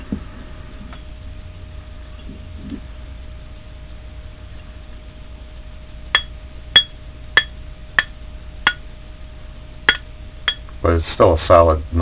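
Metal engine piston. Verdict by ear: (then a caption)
Sound. A metal mower engine piston is tapped seven times, each tap giving a short, bright clink around 3.3 kHz that dies away almost at once, followed by a burst of rough clattering at the end. The piston is sound, with a solid tone: pistons don't ring as well as other engine parts, but this solid noise is what a good piston should sound like.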